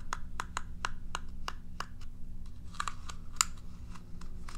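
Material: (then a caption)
Plastic. Long nails scratch and flick the dense plastic bristles of a curved plastic cat self-groomer brush held upright. The result is a run of short, dry, bright clicks and crisp scratches over a steady low hum.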